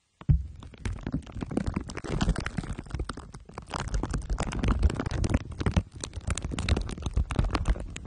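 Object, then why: Microphone wrapped in aluminium foil and plastic wrap. Two glue sticks are rubbed over the top and sides of a microphone head wrapped in crumpled aluminium foil under clear plastic wrap. The result is a dense, continuous stream of sticky, crinkling scrapes with a deep, booming low rumble that fluctuates in loudness for about eight seconds.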